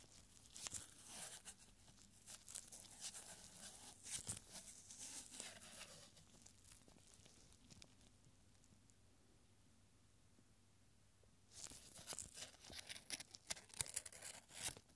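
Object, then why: Paper scroll. A thin strip of yellowed paper with handwriting, a paper scroll, is held between gloved fingertips, unrolled, crinkled and re-rolled. It makes dense, bright crinkling and crackling rustles with sharp little snaps. The rustling drops to near silence for a few seconds before a final burst of crinkling.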